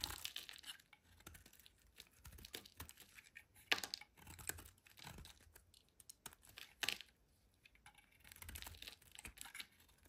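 A metal utility blade shaves and scratches a solid rectangular green bar of soap held in one hand, curling flakes off onto a white surface. The sound is a quiet run of dry, bright scraping and crisp crackling strokes, with a couple of sharper scrapes standing out between softer passes.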